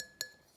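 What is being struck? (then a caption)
Thin ceramic vase. One of a pair of very pale pink vases made of extremely thin ceramic, found at a charity sale, is tapped once to hear how it rings. It gives a bright, clinking, glass-like ring with a clear tone near 1.7 kHz that fades quickly, showing that the thin ceramic rings clearly.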